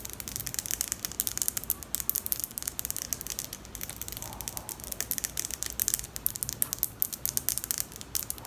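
Long acrylic nails repeatedly flick and scratch the teeth of a large pink hard plastic wide-tooth comb held close to the microphone. The result is a dense stream of quick, bright clicks and crisp scratching with almost no low end.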